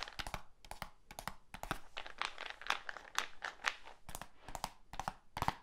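A medium black plastic supplement tub with a lid and label is held up and tapped and scratched on its sides and lid with the fingertips. Quick, irregular hollow taps mix with bright, crinkly scratching, each sound dying away almost instantly.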